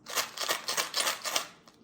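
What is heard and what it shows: A heavy blue plastic Easter egg filled with coins (quarters, pennies and dimes) is shaken, giving a loud, bright metallic rattle in quick bursts that fade out toward the end.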